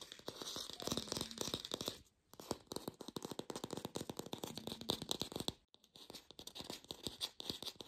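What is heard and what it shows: An artificial plastic pear is tapped rapidly with fingertips in a lo-fi recording, producing dense bursts of dry, bright clicky taps with a slightly scratchy texture. The tapping runs in three quick flurries separated by two brief pauses.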